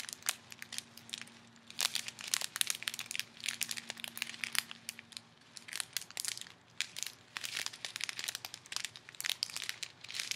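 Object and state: Plastic bag of foam beads.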